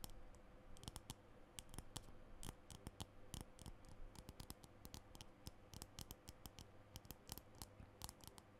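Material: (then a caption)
Plastic. Fingernails tap and click on a small green plastic lipstick tube held at chest height. The result is a quick, irregular run of short, dry clicks with bright edges that die away almost instantly, over a steady low hum.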